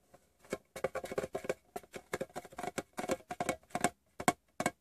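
Fingertips and short painted nails tap the closed lid of a small, hollow, rectangular green Wrigley's Doublemint metal chewing gum tin resting on fabric. The result is a quiet, uneven run of quick, dry clicks and soft taps with a faint metallic tone around 720 Hz that dies away almost instantly.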